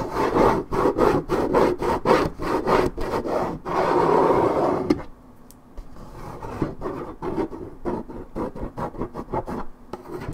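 Long nails scratch across the top surface of a hollow, coated-paperboard Minute Maid orange juice carton held steady, making rapid, rhythmic rasping strokes with a dry, papery midrange tone. A longer continuous scrape follows, then the strokes continue more softly and quietly.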